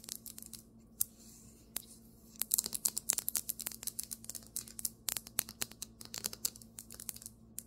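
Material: Marble.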